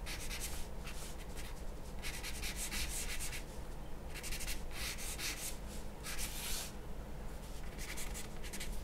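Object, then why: Charcoal pencil on a paper drawing sheet. A charcoal pencil held in the hand makes short, scratchy strokes on a large, flat sheet of white drawing paper resting on a wooden table. Bright, dry scraping comes in bursts of strokes with brief pauses between them. A steady low hum sits underneath throughout.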